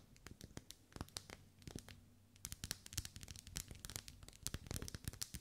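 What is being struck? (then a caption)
Ribbed wax pillar candle. Long nails scratch and tap along the vertical ribs of a lit, hand-held pink pillar candle of solid wax. Quick, dry clicks and scratches with bright upper edges come in uneven bursts over a faint low hum. Each tap stops dead with no ring.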